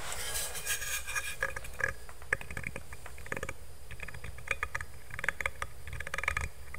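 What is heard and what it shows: Fingertips rub and scratch the surface of a black stainless steel insulated water bottle, then lift it upright. Quick, dense scratching and light tapping sit over a soft bright hiss, with short metallic pings around 1.7 kHz. A low background rumble runs underneath.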